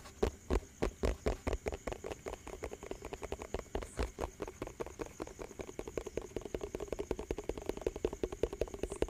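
A hollow, round yellow plastic tub with a lid and printed label is tapped and scratched quickly with fingertips and nails. Each tap gives a short, dry, hollow knock with a ringing tone near 450 Hz. The taps come in a fast, steady stream that starts as strong separate hits and grows into a denser, softer patter.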